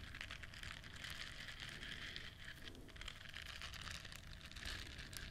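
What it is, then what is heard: Silicone bristle scrubber. Long nails scratch and rub the bristles of a hand-sized, solid and flexible yellow silicone duck-shaped bristle scrubber held close, making a steady, dense crackling scratch with bright hiss and a low rumble underneath.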